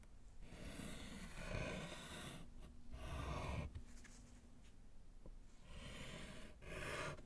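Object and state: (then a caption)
Chalk writing on a slate chalkboard. A gloved hand writes with pink chalk on a small, flat, solid slate chalkboard in a wooden frame, making a scratch. Raspy chalk strokes come in uneven bursts with short pauses between them, carrying a low, breathy rasp under a faint bright hiss.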